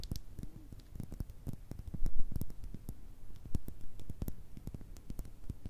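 Long red nails tap and scratch a small, hollow clear glass bottle with a thick base and a black top, which holds some liquid. A quick, irregular run of short, dull taps carries faint bright clicks and brief scratches, with loudness peaking around the middle. Each tap dies away almost at once, with no ringing.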